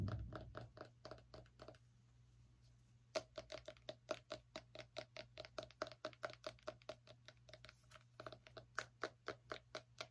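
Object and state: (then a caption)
Small pumpkin. Fingernails tap rapidly on the rind of a small orange pumpkin, producing dozens of short, dry, hollow knocks with a mid-pitched ring and almost no decay. A burst of tapping gives way to a quiet pause of about a second, then a steady run of taps resumes, all over a faint constant low hum.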